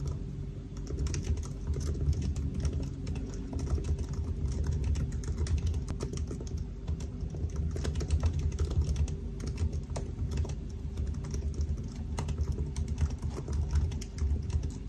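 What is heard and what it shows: Fingertips of both hands type continuously on the black plastic keys of a silver aluminium laptop. The result is a steady stream of soft, rapid, low-heavy key taps with a faint constant hum underneath.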